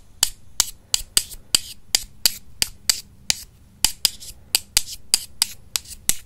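Two solid wooden makeup brush handles are tapped together with the fingertips, long nails visible. The result is 18 sharp, bright wooden clicks at a steady, slightly uneven pace, each dying away almost at once over a faint low background hum.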